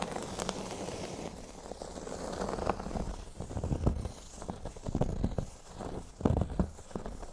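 Fingernails scratch the surface of a flat, thin, solid cork board lying on a table. The result is a quiet, dry, crackling scratch with a soft, low-heavy body and a faint bright hiss, rising and falling in irregular strokes. A few louder scrapes stand out near the four-second mark and again past six seconds.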